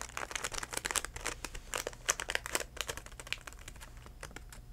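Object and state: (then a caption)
Plastic blister package. A DenTek plastic and cardboard blister package, held upright, is tapped with fingertips in quick irregular bursts. The taps give crisp, bright plastic clicks and crinkles that die away almost at once, over a faint low steady hum.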